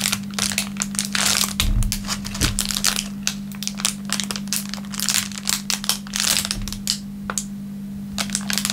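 A crumpled, thin, clear plastic film wrapper on a wooden table is crushed and rubbed with the fingertips of both hands. It makes dense, bright crinkling and crackling in quick, irregular bursts over a steady low hum. Each crackle dies away almost at once.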